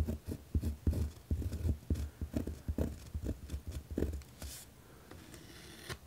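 A pen tip scratches firmly across a white lined paper pad resting on a wooden desk while writing. Irregular rapid strokes produce low, thumping scratches with brief bright bursts. The writing eases into quieter, fainter scratching near the end.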